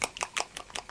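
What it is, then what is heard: Paint bottle, thick paint with silent mixing ball. A bottle of Green Stuff World fluorescent paint with a mixing ball inside is shaken, giving six soft, bright, muffled swishes with no clack from the ball. The paint is judged thick, like the Eldorado paint, because the ball does not rattle.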